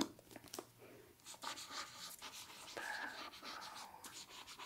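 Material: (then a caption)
Paper. Fingertips and nails scratch and tap along the page edges of a hardcover copy of The Bone Houses held in the hands, then trace its paper dust jacket. The result is crisp, dry, high scratching with short taps. A faint voice is heard softly underneath.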